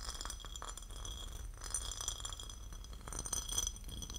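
A porcelain lid is tapped and scratched, giving quiet, bright ceramic clinks over a steady scratching texture. A low, steady rumble sits underneath the whole time.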